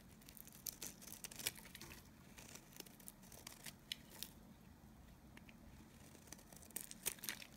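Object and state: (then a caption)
Dry bar of soap being scraped. A solid, dry bar of Nevskaya kosmetika soap is held in the hand while a knife blade scrapes thin curls from its surface. The result is quiet, bright, crisp scraping and crackling with a steady low hush beneath. A few sharper snaps stand out near the start and end.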